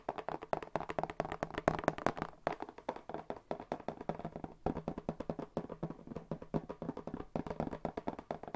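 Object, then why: Corrugated cardboard box. A hollow, medium brown corrugated cardboard box with a white paper label is held up and tapped rapidly with the fingertips. The taps are quick, dry and hollow, centered in the midrange with almost no ring, and they run in a steady, busy stream with brief pauses around 2.4 and 4.6 seconds.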